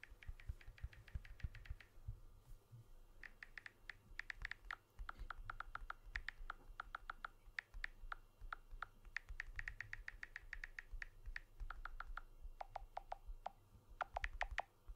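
Fingertips tap rapidly on the glass back and aluminium edge of a blue iPhone-style smartphone with a dual camera. Short, dry clicks and ticks come in quick irregular bursts over a low, steady rumble, with bright tapping that shifts to slightly deeper, duller taps near the end.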